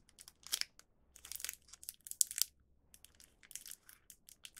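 A small, full, printed plastic film packet holding one round cheese rice cracker is held between the fingertips of both hands and crinkled and squeezed. It makes bursts of bright, dry crinkling and crackling with almost no low end and no ring, separated by brief quiet gaps.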